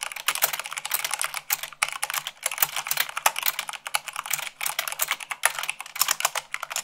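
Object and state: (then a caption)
Mechanical keyboard being typed on. Long nails and fingertips type fast, at about 98 words per minute, on a full-size mechanical keyboard with white plastic keycaps on a black frame. The result is a dense, steady stream of crisp, bright clacks with almost no low end and very short decay, with brief pauses between bursts.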